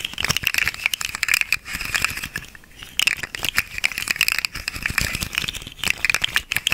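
A small hollow, segmented orange and green plastic slug fidget toy is held upright in both hands while its segments are flexed and wiggled with the fingers. It produces a dense, bright rattle of quick plastic clicks that cluster around a high band near 2.4 kHz and stop almost instantly. The clicks pause briefly in the middle before resuming.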